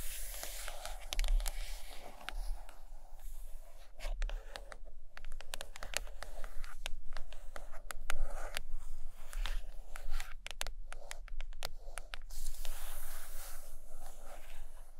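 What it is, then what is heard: Hardcover book, tapped and scratched. Long acrylic nails tap and scratch the cover of a large purple hardcover book lying closed on a carpet, the book sounding solid. Dry, bright scratching strokes mix with soft, quick taps, all over a steady low hum.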